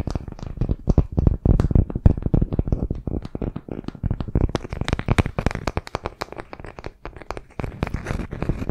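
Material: Wood.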